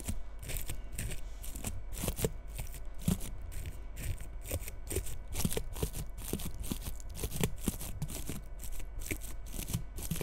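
Long red nails scratch and comb the bristles of a small frosted bottle-brush Christmas tree lying tilted. The result is a quick run of short, dry, crackly brushing strokes with a bright rustle, over a faint steady low hum.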